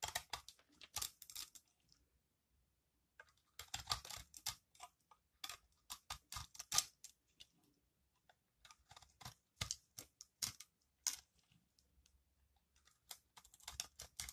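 A metal blade scrapes crunchy flakes from a solid green, palm-sized dry recycled soap bar held in the hand. Quick bursts of crisp, bright crunching and scraping come in clusters, separated by short quiet pauses, with almost no low end and no ring after each stroke.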